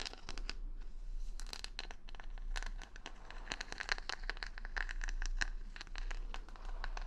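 Long nails scratch rapidly over the plastic rhinestone stickers covering the back of a solid wooden paddle hair brush held close to the mic. The result is a dense stream of bright, crisp clicks and scrapes with a few sharper ticking accents, all over a steady low hum.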